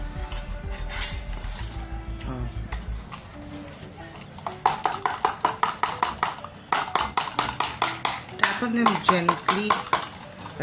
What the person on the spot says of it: Tap on them gently, but because it's plastic, it makes a lot of noise.